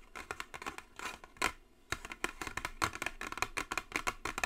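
Long nails tap and scratch the top of a long, narrow, white Jisen brush set box made of hollow cardboard. A quick, uneven run of light, bright clicks with brief scratchy strokes, dry with almost no ring and little low end.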